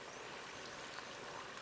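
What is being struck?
Nothing is struck.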